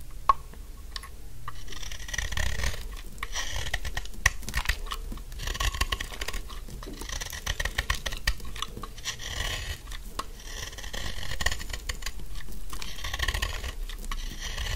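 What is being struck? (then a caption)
Bar of soap scraped with a metal blade. A metal utility blade carves and scrapes along the corners of a solid pink dry soap bar held upright, shaving off crumbly soap flakes. Dense, dry crackling and scratchy scraping come in steady waves, with a bright crunchy edge over a low rumble and frequent sharp ticks.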